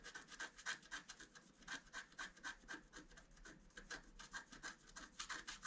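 A wooden stylus scratches the antler area of a flat scratch-art card of black coated paper with quick, repeated strokes. Each stroke gives a dry, raspy scrape with a bright edge and a faint whistle-like tone near 1.6 kHz. The strokes come at an uneven pace of about four per second, with no low rumble.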